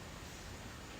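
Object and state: Nothing is struck.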